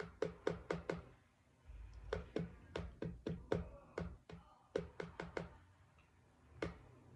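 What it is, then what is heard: Cardboard book cover. Knuckles knock and tap on a cardboard book cover, giving eighteen dull, low thuds in irregular bursts. Each knock is short and dry, fading almost at once, with quiet pauses between the groups.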